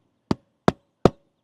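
A rubber mallet taps roof decking four times, moving away from the marked rafter area. Each tap is a short, dull knock with almost no ring. The taps sound hollow, meaning decking with no rafter beneath.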